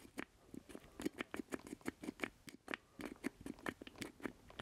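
A black plastic Atari-style joystick with a rubber boot and a small hollow square base is held in both hands while fingertips and nails tap and scratch the base. About twenty quick, dry, hollow clicks follow one another with no ring, each with a low-mid knock and a thin bright scratchy edge.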